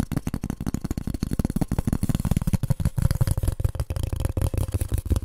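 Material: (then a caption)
Polystyrene foam. A piece of polystyrene foam is tapped rapidly and continuously, giving dull, hollow, low-pitched knocks that die away almost instantly. The sound has very little high end.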